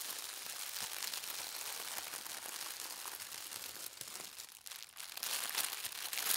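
A large, thin sheet of white tissue paper printed with gold stars lies flat while both palms and fingertips with long red nails rub and smooth it. A steady, bright, high crinkling rustle runs throughout, with no low end. It briefly quiets just before the five-second mark, then grows louder and crisper toward the end.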